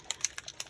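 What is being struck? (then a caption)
Paint spray bottle with mixing ball. A mica paint spray bottle is shaken, and the mixing ball inside rattles against the container. Five short, bright clicks are heard, almost entirely above 2 kHz, each dying away at once.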